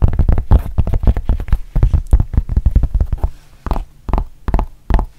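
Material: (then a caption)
Rubber, fabric. Long painted nails tap and scratch a thin, solid rubber-backed fabric mouse pad, working over both its printed front and its rubber back. A fast, dense run of soft, dull, low thuds and scratches slows into a few sparser, separate taps near the end.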